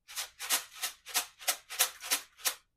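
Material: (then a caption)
Rice. A homemade shaker made of two glued paper plates filled with rice is shaken in eight quick strokes. Each stroke gives a soft, fine, hissing rattle of grains, concentrated in the high frequencies with no low-end thump.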